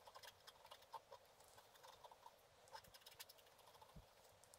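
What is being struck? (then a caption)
Scratch art paper sheet scratched with a wooden stylus. A wooden stylus repeatedly scratches a thin, solid, black-coated scratch art card lying flat. The sound is a quiet, dry run of short, brittle scrapes and ticks, mostly in the mid and bright high range with almost no low end. The strokes die away at once.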